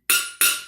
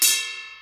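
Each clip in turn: First: metal kitchen container, hard metal. Second: thin metal colander, ringing.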